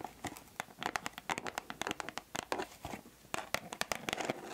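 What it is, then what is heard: Cardboard box tapped with nails. Long nails tap and scratch the flat faces of a closed white cardboard perfume box with a pink bow print. The result is a quick run of dry, sharp clicks and bright, papery scratches with almost no low end, each tap dying out at once.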